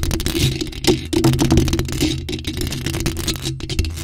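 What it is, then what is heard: Metal mesh microphone grille. Long pointed nails scratch and tap over the top of a bare, hollow black metal mesh microphone grille. Dense, rapid scratching and tapping crackles close and heavy, with a strong low rumble underneath and thin bright edges, with no spoken words.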